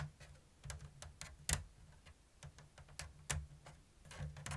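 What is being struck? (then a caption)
Woven bamboo basket. Long blue-painted nails tap and scratch along the thin woven strips of a medium-sized, hollow, open-weave bamboo basket that appears empty. Short, dry, bright clicks fall at an irregular, unhurried pace, with a soft scratchy rustle between them. A steady low hum sits underneath throughout.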